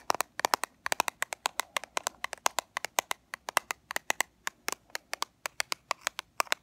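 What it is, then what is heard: Plastic powder compact. Long fingernails tap and scratch a small, flat black plastic Fit Me pressed-powder compact with a clear window lid. About 44 sharp, dry clicks land in quick, uneven bursts. Each decays almost at once, with a bright plastic tick centered near 1 kHz and no low-end body.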